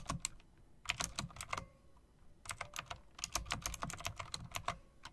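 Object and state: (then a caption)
Typewriter-style mechanical keyboard being typed on. Long dark press-on nails and fingertips rapidly tap a full-size backlit mechanical keyboard with a solid body and round typewriter-style plastic keycaps with chrome rims. Two bursts of sharp, bright clicking are separated by a brief pause near the two-second mark. Each keystroke is crisp and dies away almost instantly.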